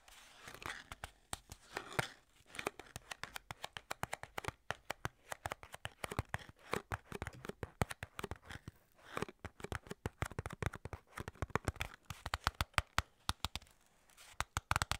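Long nails tap and scratch the sides of a small, hollow, printed white-and-red skincare paperboard box while hands grip it. Dense runs of quick, dry clicks and crisp scratches come in bursts with short pauses, each tap dying away almost at once.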